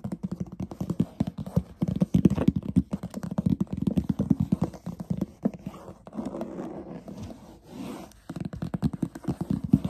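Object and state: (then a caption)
Leatherette instrument case. Fingernails rapidly scratch and tap the textured surface of a closed, hollow, black leatherette-covered hard instrument case with stitched edges and metal corner guards, held close. The result is a dense run of dry, short scratches and taps with a low, hollow body. Around the middle it turns into a steadier rubbing scrape before the quick tapping returns.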